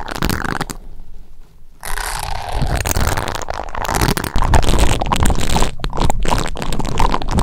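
Silver metal cylindrical microphone capsules on a stand are rubbed and brushed by both fingertips, each fitted with a white silicone finger toothbrush with short bristles. A close, dense scratching and rubbing is heard, heavy in low rumble with brief quieter gaps and bursts of brighter, crackly friction.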